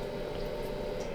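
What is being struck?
Nothing is struck.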